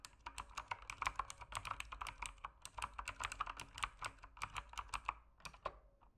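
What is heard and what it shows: Fingertips type steadily on a backlit mechanical keyboard with plastic keycaps, producing a continuous stream of short, crisp clacks. Each clack is centered around 1 kHz with bright high edges and almost no ring. The keystrokes slow and thin out toward the end.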